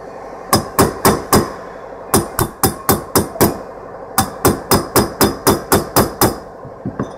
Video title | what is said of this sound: 1966 Impala front wheel bearings part 2 | when it's seated it should sound a little different when you're tapping a hollow sound goes away